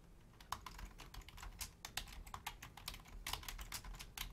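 Continuous two-handed typing with long nails and fingertips on a black plastic Logitech full-size membrane keyboard with a hollow casing. Quick, bright clacking taps with very short decay come in an uneven stream over a faint low rumble.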